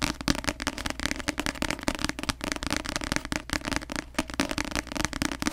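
Long nails tap fast on the glossy cover of a paperback novel held upside down in front of the microphone. The solid paper block gives a rapid stream of short, dry, crackly clicks with almost no ring, bright on top and with a low thud underneath.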